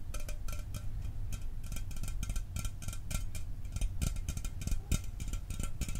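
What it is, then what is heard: Aluminum soda can. A standard aluminum Mountain Dew can, apparently unopened and full, is held in hand and tapped rapidly with the fingertips. The taps come as a quick, steady stream of short, bright metallic ticks that die out almost at once, over a low, dull thud from the full can.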